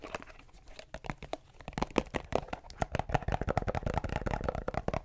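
A small plastic Repel insect repellent bottle with a label is held close to the microphone and scratched and tapped with fingernails. A rapid, irregular run of sharp, dry clicks and crinkly scratches follows, each dying away almost instantly with a hollow plastic body and little bright content.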